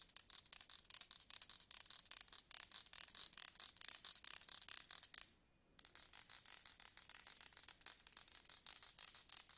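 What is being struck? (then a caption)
Metal tweezers with ridged grips. Slim metal tweezers with ridged grips, held upright tip-down on a table, are scratched along the ridges with a thin pointed stick. It makes a fast, dense run of very bright, thin scratchy ticks with almost no low end, each dying away instantly. The ticking stops for about half a second near the middle, then picks up again at the same pace.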